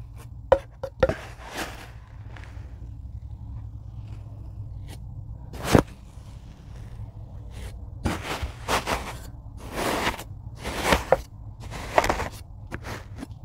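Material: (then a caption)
Kinetic sand. A rocker blade presses down through a tray of packed kinetic sand, cutting straight slices. Each cut gives a short, soft crunching scrape with a bright, grainy texture, spaced irregularly over a steady low hum.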